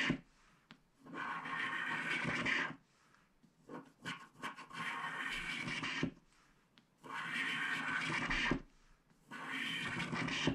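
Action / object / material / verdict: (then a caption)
scrape / wax-coated paper scratch-art card scraped with a wooden stylus / wax-coated paper / none. A thin wooden stylus scratches the black wax coating off a small flat scratch-art card printed with a unicorn picture on paper card stock, while a hand holds the card flat on a cloth. Long, dry, bright rasping strokes alternate with short quiet pauses and a few brief scratches in between. The black scrapings pile up around the card.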